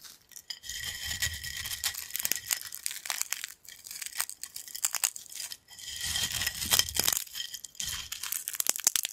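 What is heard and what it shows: A pile of thin, crispy yellow corn chip fragments on a black plate is crushed and crumbled between fingers. Dense, bright crackling and crunching comes in bursts separated by brief pauses, with a sharp, dry texture and almost no low end.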